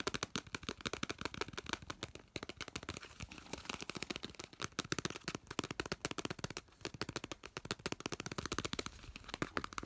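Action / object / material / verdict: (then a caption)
tap / aluminum aerosol spray can / aluminum / none. Fingertips and nails rapidly tap and scratch the side of a hand-sized, hollow, cylindrical aluminum aerosol spray can with a glossy blue printed body and a red plastic cap, held in the hand. Dense, fast, sharp clicks with a bright crinkly edge follow one another almost without pause, each dying away at once.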